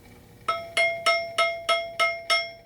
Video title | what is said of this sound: Twig Archery Review of the Excalibur Micro 335 Crossbow | if I tap on this and you can hear that noise going on there bang bang bang noise